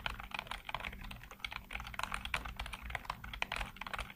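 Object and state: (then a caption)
Plastic computer keyboard. Fingertips type rapidly across a full-size black plastic computer keyboard with hollow keycaps. A dense run of quick, dry, bright clacking key presses, each dying away almost instantly, sits over a faint low steady hum.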